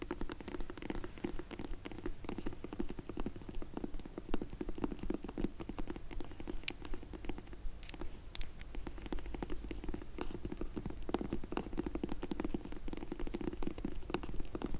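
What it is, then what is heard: Faux leather glasses case. Long nails tap quickly on the top of a closed, dark grey faux leather hard sunglasses case. The result is a fast, steady patter of soft, muffled taps with a low, dull body and very little brightness, continuing evenly for about fifteen seconds.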